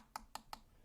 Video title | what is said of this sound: Unboxing Something Pleasantly Surprising! | Sounds like plastic.